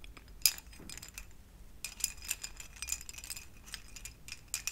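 A lit string of small, hollow, translucent orange plastic pumpkin-shaped LED covers on thin wire is held up and handled with the fingertips of both hands. The plastic pieces shake, jangle and clink against each other. The result is quiet, bright, high clicking with one sharper clink near the start and very short decay.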